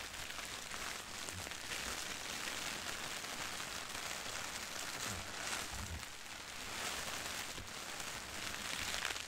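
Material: Paper.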